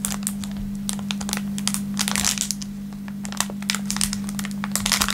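An empty bag of thin, clear plastic film packaging is stretched and crinkled between the fingertips of both hands. It gives a dense run of sharp, bright crackles and rustles that swells and thins over about five seconds, over a steady low hum near 200 Hz.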